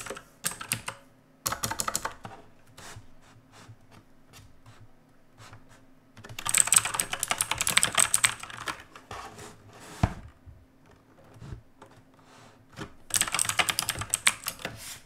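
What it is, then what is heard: Mechanical keyboard with plastic keycaps. Fingertips of both hands press and type on the plastic keycaps of a black mechanical keyboard resting on a wooden desk, its backlight off and then on. Scattered single key presses give way to two dense bursts of rapid typing, with bright, sharp clicks that stop almost instantly.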